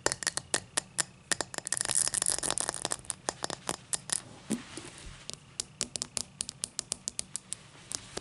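Long matte black nails scratch along the cut pattern of a tall, empty cut-crystal highball glass resting on a towel. About 35 sharp, bright clicks ring very briefly, with a denser scraping rasp between roughly 1.5 and 3 seconds.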